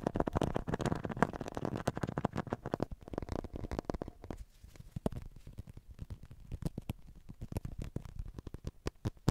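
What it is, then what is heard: Plastic acupuncture model figure. Long nails tap and scratch the back, shoulders and chest of a hollow white plastic acupuncture model figure held close to the mic. The first three seconds are a dense, low, scratchy rustle, which gives way to quieter, sparser runs of rapid, sharp taps. Each tap is a short, dry click that dies away almost instantly.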